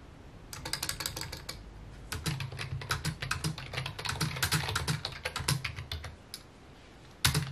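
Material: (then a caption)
Plastic. Fingertips type rapidly on a full-size white and mint plastic computer keyboard with a hollow housing, resting on a wooden desk. Quick bursts of crisp, bright key clicks ride over a low, hollow thump from the housing, with a short pause before a longer, steady run of typing. After a near-silent gap, one loud cluster of key strikes lands right at the end.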